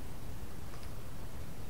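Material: Nothing is struck.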